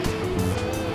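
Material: Nothing is struck.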